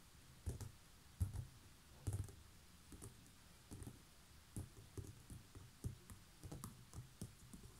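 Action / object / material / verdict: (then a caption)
tap / coiled seagrass basket / woven straw / none. Long nails tap and scratch along the woven coils on the side of a large, hollow, coiled woven straw (seagrass) basket. About ten soft, dull, low thumps land at an uneven pace, each with a brief bright, scratchy rasp and almost no ring.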